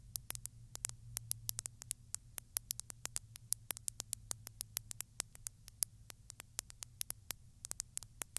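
Long, pointed glittery nails tap and scratch along the body and neck of a textured glass bottle filled with small beads. Many rapid, sharp, bright clicks sound in an irregular stream over a faint low hum, each dying away instantly.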